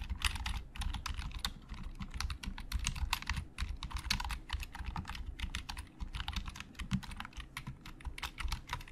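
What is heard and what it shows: Index fingers type quickly on a hollow black plastic Logitech keyboard, pressing individual keys in a fast, steady run of short, dry clicks. Each press has a bright, crisp click over a low, hollow thump, and the sound stops at once after every key.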